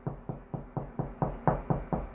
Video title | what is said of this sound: HOW TO FIND ANY WALL STUD! 3 EASY METHODS | when you get to a thud that's a stud